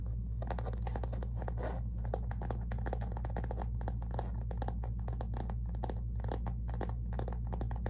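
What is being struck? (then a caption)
Faux leather zip pouch. Fingernails on both hands rapidly tap and scratch near the lower edge of a flat, thin, hollow rose-gold metallic faux leather zip cosmetic pouch with printed branding. The result is a dense, continuous stream of crisp clicks and scratchy rustles over a steady low hum.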